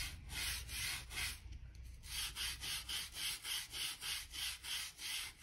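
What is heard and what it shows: A blue-handled gap brush scrubs dirt and dust from the seams between worn wooden floor planks. Bright, hissy scratching strokes start loose and uneven, then settle into a steady back-and-forth rhythm of about three strokes per second.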